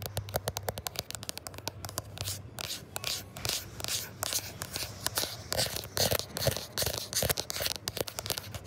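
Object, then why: Smartphone glass back and camera bump. Fingertips and short nails scratch and tap fast on the matte glass back and over the camera bump of a gold iPhone 11 Pro, the small, solid phone doing the recording. Rapid, irregular dry taps with almost no ring mix with bright, crackly scraping, over a faint steady low hum.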